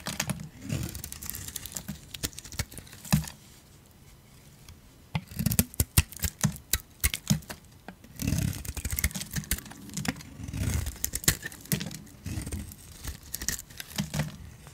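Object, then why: Soap bar. A hand-sized solid bar of soap, purple outside and turquoise inside, is held in one hand and scraped and carved with a metal utility blade. Bursts of dry, crisp crunching and scraping clicks are heard, with bright crackle over a low, dull body. The bursts are broken by short quiet pauses.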